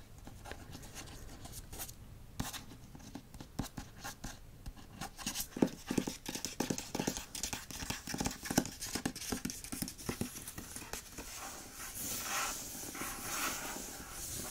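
Fingertips and nails scratch and tap across the front cover lettering of a hardcover book with a glossy paper dust jacket. Soft, irregular dry taps and bright scratches follow one another quickly. Near the end they give way to a steadier, hissy scratching.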